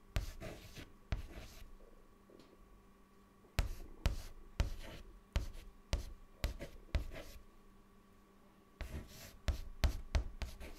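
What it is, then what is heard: Chalk writing on a chalkboard. A white chalk stick held in the fingers writes words on a large, flat, solid dark chalkboard, scratching across the surface. Short, scratchy strokes come in quick bursts with a bright, gritty edge, separated by brief pauses, over a faint steady hum.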